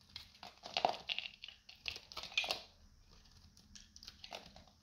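A solid, hand-sized, dried peach soap bar with a red coating is held in the hand and shaved with a metal utility knife. Bright, crunchy crackling and scraping come in quick bursts, loudest in the first half before softer strokes follow. Crunchy flakes come off the bar.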